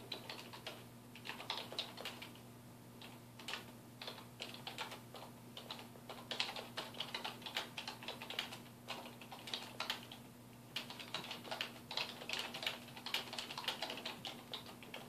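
Fingertips of both hands type rapidly on a black plastic computer keyboard resting on a wooden desk, producing a dense, uneven stream of bright, short clicking key taps that stop dead almost at once. A faint steady low hum runs underneath throughout.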